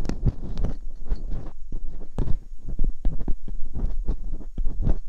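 Metal dental picks scratch inside the ear canals of the silicone ear molds on a white binaural microphone. The sound is a dense run of close, muffled bumps and scrapes, heavy in the low end with faint bright streaks, each stroke dying away almost at once.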